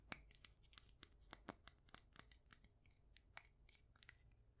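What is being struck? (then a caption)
Glazed ceramic mug filled with soil. Long nails tap and scratch the outside of a cream glazed ceramic mug with a handle, filled with soil and succulents. A quick, uneven series of sharp, bright clicks and light scratches rings out, each dying away almost instantly over a soft low hum.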